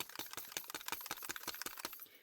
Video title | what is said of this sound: HOW TO ADD CRYSTAL 👀 INLAYS TO YOUR COASTER MOLD!!#RESINTUTORIAL #RESINART | this one you'll notice is rattling when I shake it